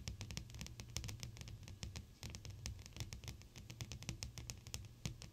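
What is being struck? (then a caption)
Flat glass pane tapped with long fingernails. Long blue acrylic nails tap quickly on a large, flat, clear sheet of solid glass, with the fingertips pressed against the pane. The result is a fast, irregular stream of short, dry, clicky taps like typing on a keyboard, each bright and ending almost instantly, over a steady low hum.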